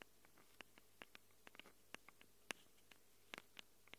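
Long acrylic nails scratch and tap the metal mic capsule rings on a small black handheld Tascam recorder. About fourteen quiet, sharp, bright clicks sound in an irregular patter, each dying away at once, over a faint steady low hum.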